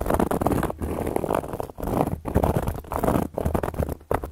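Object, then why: Cork coaster. Long gold metal claw nails scratch across a round, flat, solid cork coaster, making a steady dry, muffled scraping with a low, rumbly body. The scratching runs in continuous strokes broken by a few brief pauses.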